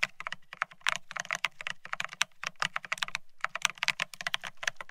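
Both hands type rapidly with their fingertips on a Bear65 mechanical keyboard fitted with blank white matte ceramic Cerakey keycaps on a steel plate, resting on white cloth. The result is a dense, continuous stream of short, bright, clacky keystrokes. Each one dies away almost instantly, with only a faint low thud beneath the crisp high clicks.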